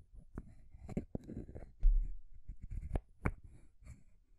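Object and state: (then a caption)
Painted wooden stacking ring toy. Long grey nails tap and scratch along the solid painted wooden rings and top ball of a small rainbow wooden stacking ring toy. Quiet, dull, low-heavy taps come in an irregular run, mixed with soft scraping, and each tap dies away quickly with almost no ring.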